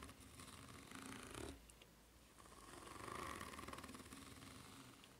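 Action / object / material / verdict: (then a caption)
scrape / ridged rubber flip-flop sole / rubber / none. Long nails scratch slowly along the serrated ridges of a white rubber flip-flop sole held bottom-up at an angle. The result is a soft, rapid, raspy scraping with a faint tonal ring near 1.1 kHz. It swells in two passes with a brief quieter pause between them.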